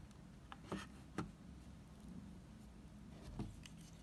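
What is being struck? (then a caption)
Oval bar of soap. A utility knife blade cuts and scrapes a solid, dried, mint-green oval Savoy soap bar. A few sharp, dry clicks and scrapes stand out over a quiet, low background, each one dying away almost at once.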